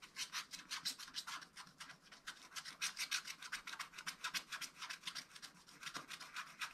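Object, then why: Wax-coated scratch-art paper scratched with a wooden stylus. A wooden stylus scratches the lower area of a wax-coated scratch-art paper page held flat by one hand, using fast, dense strokes. The result is a quick, uneven run of dry, bright scratching rasps with almost no low end, each stroke stopping short with no ring.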